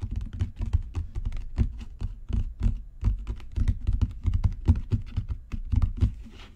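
Fingertips and nails tap rapidly on a solid, dark brown genuine leather book cover. The result is a dense stream of short, dull, low thuds with soft clicky edges that die away almost instantly.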